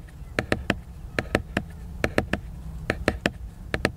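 Fingernails scratch back and forth across the cover of a large, glossy laminated cardboard hardcover book that is solid and flat. The strokes come as 14 short, crisp, bright bursts in quick groups of two or three, each dying away almost at once. A low, steady rumble runs underneath.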